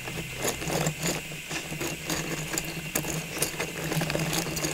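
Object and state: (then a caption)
Clear plastic tube of small ornaments. A hollow, cylindrical clear plastic tube full of small Christmas ornaments is held in the hands and tapped with long pink nails. The taps make quick, light plastic clicks with bright ticks over a steady low hum.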